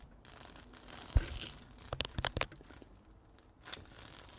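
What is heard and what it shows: A small flat sticker sheet covered in rows of yellow and clear plastic rhinestones on a plastic backing, held in the palm, is scratched and tapped across the gems with fingertips and nails. Soft, bright, crinkly scratching runs throughout, broken by a sharp tap and then a quick cluster of crisp clicks in the middle, before the scratching picks up again near the end.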